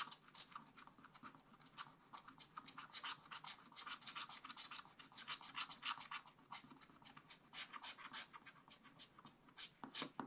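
A wooden stylus scratches and rubs a leaf area on black coated scratch art paper in repeated short strokes. The result is a steady, fast series of dry, bright rasping scrapes with little low end. The scrapes come at an uneven rhythm and vary in strength.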